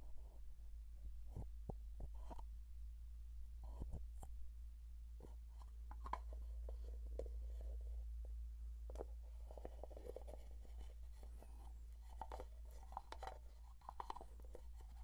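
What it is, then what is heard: Plastic jar tapped and scratched. Fingertips tap and scratch the body and blue lid of a closed plastic Vaseline jar. Soft, quiet, irregular clicks and scraping rustles sit over a constant low hum.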